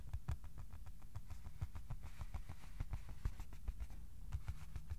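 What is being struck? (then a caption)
Cardboard sheet. Slow fingertip tapping on top of a flat white cardboard sheet held level. It makes a steady series of soft, dull, low thuds that die away almost instantly, with nearly all their energy in the deep bass.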